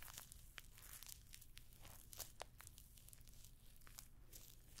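Long nails scratch and tap across the rows of small hollow rose-gold metallic pyramid studs covering a rectangular clutch bag held up close to a microphone. The quiet stream of dense, crinkly scrapes is dotted with sharp, bright metallic clicks, all over a steady low hum.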